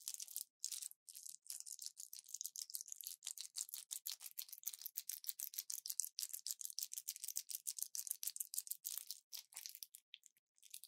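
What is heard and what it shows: An orange plastic blister pack with foil backing and pills inside is held in both hands and crushed and crinkled with fingers and long nails. A quiet, rapid, irregular stream of sharp crackles and crinkles is heard, all bright and high with no low end, each snap dying away almost instantly.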